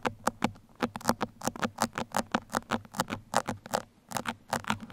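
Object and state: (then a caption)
Foam microphone windscreen scratched with pins. Two metal pins held between the fingertips scratch and poke the surface of a black foam microphone windscreen, hollow over the capsule. About two dozen short, dry, crackling taps and scratches come in a quick, uneven patter, each a crisp burst that spreads from low up to bright and dies away almost instantly.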